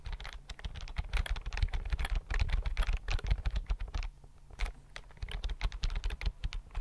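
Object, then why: Plastic computer keyboard. A slim white plastic computer keyboard is held in both hands while fingertips tap the keys quickly. The result is a fast, uneven patter of short, dry key clicks with a deep low thump under each tap, easing briefly around the four-second mark before speeding up again.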